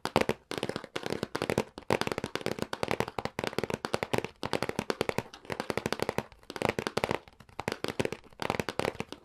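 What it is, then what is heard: Cardboard console box. Fingertips and nails tap rapidly on the top of a hollow, printed cardboard retail box for a SNES Classic Mini, making dense bursts of short, dry clicks with a hollow midrange tone around 520 Hz. The taps come in quick clusters with brief pauses between them, and at the end the lid starts to open.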